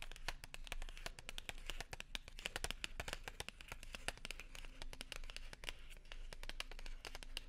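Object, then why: Small paper and foil gum package. A small silver and white paper-and-foil gum package is crinkled, scratched and tapped with long nails and fingertips. The result is a quiet, rapid stream of sharp, dry clicks and crackly crinkles with a bright edge, over a faint, steady low hum.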